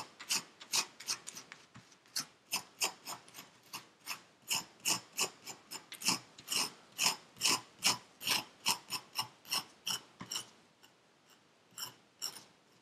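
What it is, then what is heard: Kinetic sand scraped in a paper cup. Purple kinetic sand in a yellow paper cup is scraped with a metal pick tool, making a quick, uneven run of about 36 short, dry, bright rasping scrapes with almost no low end. After a brief pause near the end, a few softer scrapes follow.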